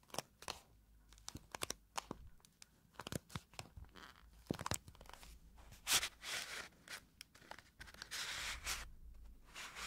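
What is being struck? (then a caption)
Small cardboard box. A small pink cardboard blotting paper box is turned on its side and then onto its front while long nails scratch its edges and faces. Quick, bright scratching and tapping clicks are heard, with longer rough scraping bursts in the second half.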